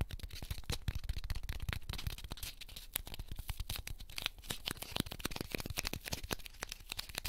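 A small, solid, light heart-shaped cornstarch foam packing piece from a 100-yen shop is held in the fingertips of both hands and squeezed and crushed, while other pieces lie still on a pink ribbed mat. A dense run of short, dry crunching and crackling snaps follows one after another with no ring, each ending instantly.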